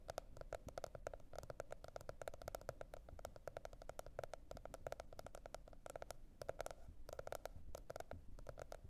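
A teal spiral-bound cardboard hardcover notebook is tapped rapidly with the long red nails of both hands. The result is a fast, continuous patter of short, dry clicks with a hollow tone around 650 Hz, over a soft low rumble.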